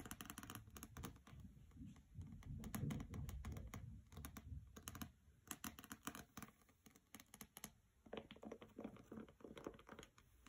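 Fingernails tap rapidly on the glossy jacket of a hardcover copy of "Graceling" resting on carpet, moving across the cover and along the sides. The taps come in quick, uneven bursts of soft, low thuds edged with bright clicks, rising mid-clip and thinning to lighter, scattered taps near the end.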